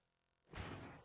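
A metal weight plate, apparently the 25 lb plate, is dropped on the floor to show by its sound that it is a real, heavy plate and not a fake. A single deep, heavy thud is heard, centred around 100 Hz, followed by a short rumbling decay. It sounds heavy, confirming the plate is real.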